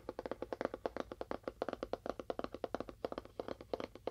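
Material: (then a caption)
Cardboard. Fast tapping on a cardboard box with a faux wood finish produces a rapid run of about 31 dry, hollow taps over four seconds. Each tap is short and papery with little ring, centered on a mid tone around 540 Hz.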